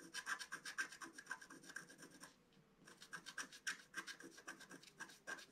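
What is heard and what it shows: A wooden stylus scratches a flower shape into the centre of a flat, black-coated scratch-art card, making quick, dry rasping strokes with a bright edge and a steady scratchy tone near 1.6 kHz. The scratching pauses briefly just before the midpoint, then resumes in the same rapid, uneven rhythm.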